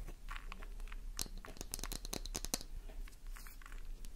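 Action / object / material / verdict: scrape / bar of soap / soap / none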